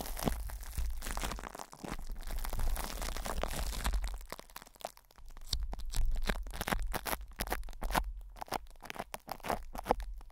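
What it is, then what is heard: Plastic cling wrap crinkled over a microphone grille. Fingertips squeeze, scratch and rub crinkly plastic cling film wrapped over a hollow metal microphone mesh grille. The result is a close, dense stream of crackling crinkles and rustles. The first four seconds are a continuous, louder wash, followed by sharper, separated crunches with a deep low rumble underneath.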